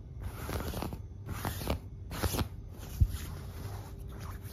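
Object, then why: Quilted fabric duvet. Long black-painted nails and fingertips scratch and rub the surface of a large, soft, white quilted fabric duvet on a bed, puffy and filled. Quiet, crunchy bursts of scratching and rubbing come in uneven strokes with a muffled, low-heavy sound and a few slightly louder scrapes.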